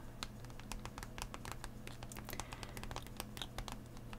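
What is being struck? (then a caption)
Clear plastic blister pack on a cardboard card. A Pokémon Astral Radiance card blister pack lies flat: a hollow clear plastic shell over booster packs on a cardboard card. Both hands tap and scratch the plastic with their fingernails. The result is a rapid, steady stream of short, bright, dry clicks and crinkly scratches over a low, constant hum.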